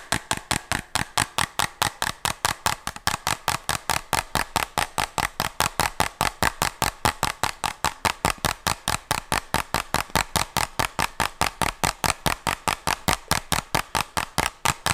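Fingernails tap and scratch the surface of a small, hollow white plastic medicine bottle with a red label and a cap, held close to the mic. About 72 short, dry, bright clicks follow one another at a steady, quick pace of a little over two per second. Each has a hollow midrange tone and dies away almost instantly.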